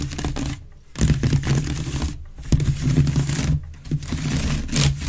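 Long red nails on both hands scratch quickly across the woven base of a grey wicker waste bin held upside down, hollow and empty. The scratching comes in dense, rasping bursts with short pauses between them, carried by a low, hollow resonance from the bin's body.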